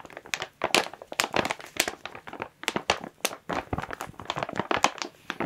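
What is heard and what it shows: Hands squeeze a thin clear plastic bag holding a white and blue plush toy while long nails scratch and tap the crinkly plastic. Dense, bright crinkling and crackling comes in rapid short bursts with almost no low end, and each sound stops quickly with no ring.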